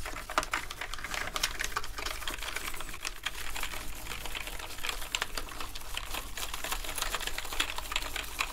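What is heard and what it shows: Two toothbrushes scrub the keycaps of a black plastic gaming keyboard covered in foam, making a dense, continuous stream of quick, bright plastic clicks and brushing rasps. A steady low hum runs underneath throughout.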